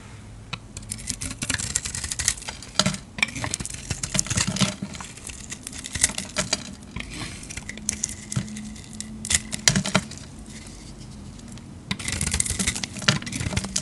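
A utility-knife blade shaves and scrapes a hand-sized, solid light-blue glitter soap bar held in the palm, and the curls fall onto a pile. Dense, bright, crackly scraping comes in uneven bursts with sharp little ticks, easing into a quieter stretch before picking up again near the end.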